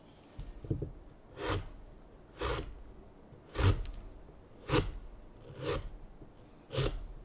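A chisel shaves the end of a solid, light basswood spoon blank, making rasp-like scraping strokes. Seven short, broadband scrapes sound at a loose, uneven pace, each with a low thud and a bright hiss that dies away quickly.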